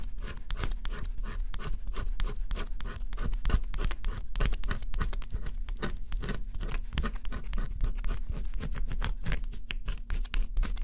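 A small metal stylus held in the fingers scratches the black scratch-off coating on a flat, solid cardboard jigsaw puzzle. Quick, dry scratching strokes follow one another in a dense, steady run, each a short bright rasp that dies away at once. A constant low hum sits underneath throughout.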